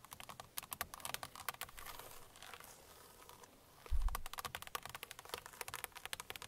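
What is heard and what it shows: Long painted nails of both hands tap and scratch on a car steering wheel's hollow, hard plastic centre pad (airbag cover). Quick, dry clicks patter at an uneven pace, interrupted by brief stretches of softer scratching, then a louder low thump before the tapping resumes.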